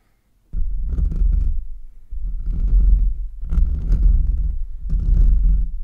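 Fingertips and short nails scratch and rub fast with both hands over the bare, hollow metal mesh grille of a large USB microphone, the hands mostly covering it. This produces four long bursts of dense, rumbling scratching, heavy in the low end with a faint scratchy hiss above, separated by brief dips.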